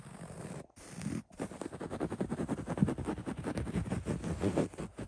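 Fingertips and short nails scratch the beige, coarse basket-weave upholstery of a padded recliner, making a dry, low, rustling scrape. It starts as a soft brushing with two brief pauses, then becomes a quick, uneven run of short scratching strokes.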